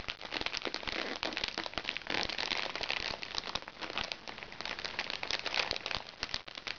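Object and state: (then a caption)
Crinkly plastic makeup bag. Long nails scratch and tap a small, crinkly recycled plastic makeup bag, giving a dense, bright crinkling and crackling with sharp clicks scattered throughout. The sound is steady and high-pitched, with very little low end and quick, dry decays.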